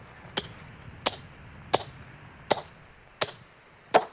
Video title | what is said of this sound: Terre de hauteurs : voyages en Alpes, Pyrénées et Corse - Au cœur de nos montagnes - GD | elle s'ouvre, plus ça sonne creux. Le son creve, le son il change.